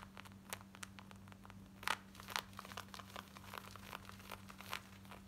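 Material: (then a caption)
Denim. Long white nails scratch fast at the back waistband and pocket of black cotton denim jeans worn on the body. The result is a rapid, irregular stream of short, dry, bright rasps and crinkly scrapes, with a few louder scratches standing out. A steady low hum runs underneath throughout.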